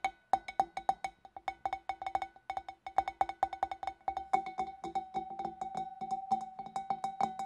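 Long nails tap rapidly on the neck and rim of a large, empty, clear glass fish bowl, then reach into its hollow opening. The result is a quick run of short, clicky glass taps with a clear ringing tone near 770 Hz that fades almost instantly. Partway through, the taps grow denser and fuller, with a hollow lower resonance.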